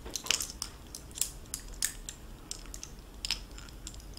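A gold-tone metal necklace with blue faceted glass stones is handled with both hands, the stones rubbed and knocked against each other. Light, bright clinks and soft scraping ticks come in an irregular scatter over a quiet background, each one short and dry with almost no ring.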